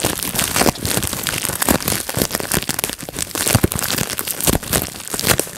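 Fingertips pinch and pop the air bubbles of a clear plastic bubble wrap sheet resting on a lap. A dense, steady stream of sharp, bright pops and crinkling crackles runs without pause, each snap dying away almost instantly.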